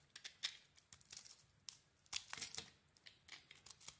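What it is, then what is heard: Bar soap being scraped with a blade. A small metal blade scrapes and shaves a solid rectangular bar of soap with a mint green shell and a cream interior. It makes a quick, irregular run of crisp, dry, bright scraping strokes with almost no low end. Each stroke stops at once with no ring, and the whole clip stays quiet.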